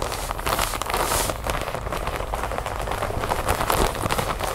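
Long nails scratch and tap quickly on a large clear plastic bag full of cotton balls resting on a wooden table, working over the plastic surface and its label area. The result is a steady, dense stream of crinkly, crackling scratches broken by quick light taps, with a soft low rumble underneath.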